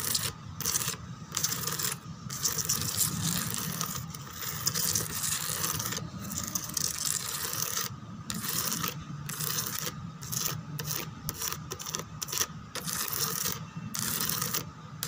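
Long nails scratch and rub quickly across the rose relief pattern on the backrest of a white plastic chair. The result is a dense, bright, rasping scratch in fast, continuous strokes, broken by brief pauses.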